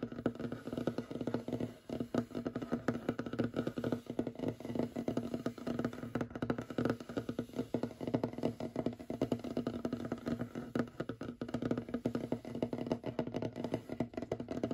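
Fingernails and fingertips of both hands tap fast across a large, solid, light-colored wooden tabletop. A continuous, dense patter of short, dry knocks carries a warm low-mid tone with little brightness, and each tap dies away almost instantly. The rapid rhythm holds a steady level throughout the clip.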